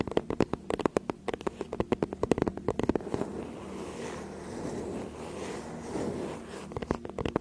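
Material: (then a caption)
Faux leather. Long acrylic nails tap and scratch the surface of a flat, teal faux-leather tablet or notebook case, about tablet-sized, held upright behind the microphone. A quick run of crisp, dry taps fills the first three seconds, then gives way to a steady, soft scratching rasp. The clip ends with a few more taps.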